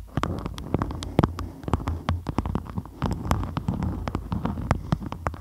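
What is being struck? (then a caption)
Waxed cotton food wrap. A beeswax-coated cotton food wrap is molded tightly around a microphone head while both hands with long nails grip, squeeze and scratch the crinkly waxed fabric. Dense, rapid crackles and sharp clicks ride over a low, rumbling muffled hum, with bright snaps flicking across the whole stretch.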